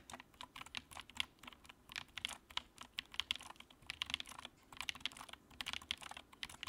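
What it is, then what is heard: Plastic mechanical keyboard. A compact white plastic mechanical keyboard with a backlight is typed on quickly with the fingertips of both hands. It gives a fast, steady stream of short, bright, clicky keystrokes with almost no low end.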